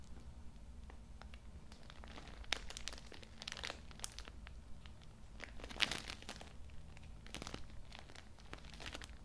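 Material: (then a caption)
Plastic film. A Cool Mint tissue multipack in plastic film, filled with tissue packs and held in both hands in front of the mic, is scratched and squeezed with the fingertips. The plastic wrapper gives off a steady run of bright, crisp crinkles and crunches over a low, constant hum. Two sharper, louder squeezes stand out among them.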